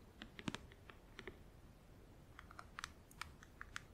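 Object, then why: Clear plastic compartment box. Long acrylic nails tap rapidly on a closed, hollow, clear plastic compartment organizer filled with press-on nails, then fingertips scratch across its lid. The quiet taps are short, sharp clicks with a bright edge and almost no ring, scattered irregularly over a low background hiss.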